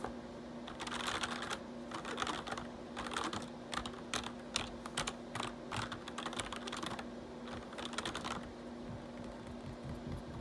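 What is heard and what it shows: Fingertips type and tap on the keys of a black plastic RGB backlit computer keyboard, making bursts of quick, bright plastic clicks separated by brief pauses. A steady low hum runs underneath throughout.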